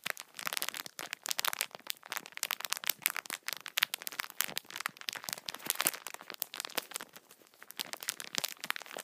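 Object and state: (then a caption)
Plastic-wrapped tissue multipack. Fingertips tap and scratch the top plastic film wrapping a multipack of tissue packs, crinkling it. The result is a dense run of quick, dry crackles and crinkles, mostly bright and high with almost no low end.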